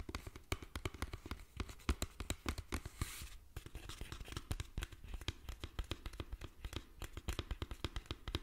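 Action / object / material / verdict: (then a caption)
tap / small plastic bottle partly filled with liquid / plastic / none. A small clear plastic bottle with a yellow screw cap, about a third full of yellowish-green liquid, is held close to the microphone and tapped and scratched with fingertips and nails. Dozens of quick, dull taps with a deep thump and almost no ring are heard, with a brief hissy scratching burst near the three-second mark. The result is a steady, soft, close-up patter of tapping and scraping.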